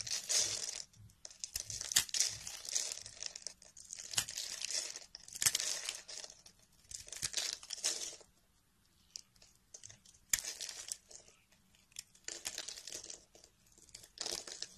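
A metal knife scrapes and carves small crumbly cubes off a hand-held solid peach-colored bar of soap scored in a grid. Bright, dry scraping and crinkly crunching come in irregular bursts with short quiet pauses between them.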